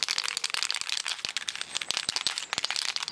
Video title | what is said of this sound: How to paint metal - Rustoleum | If you shake it up, you can hear a ball bearing in there that actually mixes the paint.